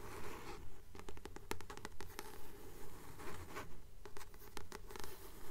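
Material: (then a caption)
Card. A blue paperback book with a glossy paper cover is held in both hands while long nails scratch and tap its card cover. Soft, rhythmic scratching strokes swell and fade at a steady pace of about two per second, broken by sharp, bright clicks from the nails. The sound is quiet and close, over a faint low hum.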